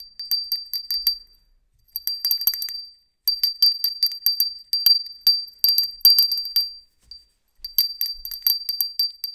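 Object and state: Ceramic hand bell.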